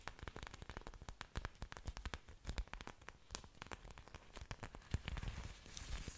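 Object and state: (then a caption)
Orchid leaves scratched by nails. Long fingernails scratch and rub the waxy surfaces of orchid leaves with aerial roots, held up close to the microphone. A quiet, dense stream of short, dry crackles and scrapes with soft low thumps follows, with brief brighter rustling toward the end.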